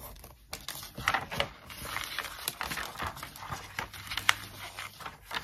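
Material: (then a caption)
Paper. Long acrylic nails and a wooden stick tap, trace and rub the glossy photo pages of an open glossy paper magazine lying on a desk. Crisp, bright clicks sit over a steady papery scratching and swishing, followed by the crinkling rustle of a page turn.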